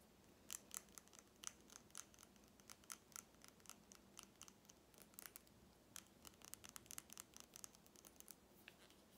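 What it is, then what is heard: Plastic lip gloss tube with metal cap. A small lip gloss tube, a hollow plastic body filled with red gloss and topped with a shiny metallic cap, is held while fingernails tap and scratch across it. The result is a quiet, uneven run of many short, sharp, bright clicks and scratchy ticks that stop almost instantly, with a faint hiss between them and very little low end.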